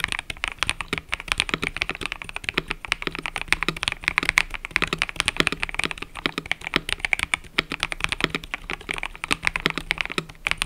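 Fingertips type continuously on a mechanical keyboard with cream and purple plastic keycaps. A rapid, steady stream of short, bright clacks with almost no ring runs through the whole clip, over a faint low hum.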